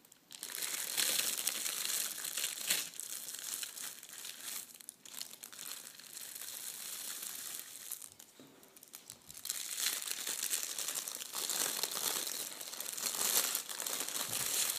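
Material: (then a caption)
Metal foil. A flattened, wrinkled sheet of red metallic foil gift wrap is rubbed and crinkled with fingertips. The result is a dense, continuous, bright crinkling with almost no low end, easing to a softer rustle in the middle before growing louder again toward the end.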